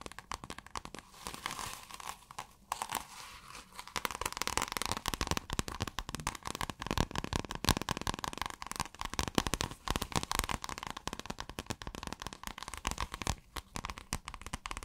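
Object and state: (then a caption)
Plastic scale-textured fabric being scratched. Long nails scratch and crinkle a flexible piece of shiny light-blue plastic scale-textured fabric. Dense, rapid crackling and scratching runs throughout, quieter at first and then busier and steadier after about four seconds.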